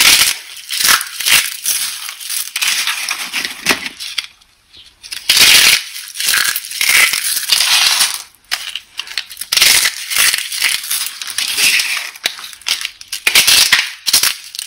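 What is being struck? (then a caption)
Pile of dry soap shards. A large flat heap of broken, dry, brittle soap pieces in pink, yellow and orange lies on a green surface and is crushed, pressed and squeezed between fingertips and palms. Pink shards are then lifted and crumbled by hand. The result is a dense run of bright, crisp crunching and crackling with short pauses and almost no low end.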